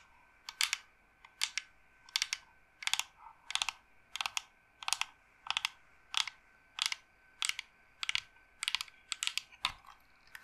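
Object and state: Carved wooden incense box.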